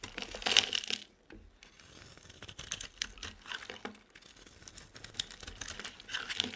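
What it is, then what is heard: Bar soap being shaved with a blade. A solid oval purple bar of soap, held in the hand, has its surface shaved into curls with a utility knife blade. The scraping comes as a series of quick, bright, crisp strokes with a dry crackle, the loudest burst near the start, then short pauses before more light shaving.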